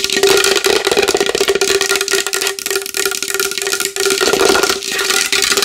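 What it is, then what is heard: Large wooden bowl. Long fingernails tap rapidly and continuously on a large wooden bowl. The dense, bright clicking rides over a steady hollow ring near 395 Hz, with almost no low end.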